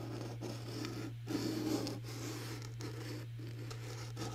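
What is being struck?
Cardboard gift box covered in glitter paper.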